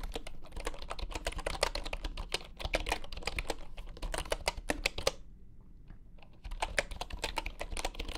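Fingertips type quickly on a full-size bamboo wooden computer keyboard with wooden keys resting on a grey mat. The keystrokes are short, dry, hollow clacks with a low thump under bright clicks, and each one dies away almost instantly. The typing drops to a few soft, sparse taps for about a second before the fast rhythm resumes.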